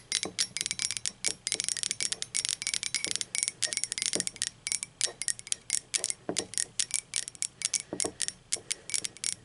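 Long pointed acrylic nails tap quickly on the sides of an upright, hollow, empty blue speckled glazed ceramic mug. A rapid, irregular run of bright, clicky taps is heard, each very short with almost no ring, with a faint hollow thud under some of them.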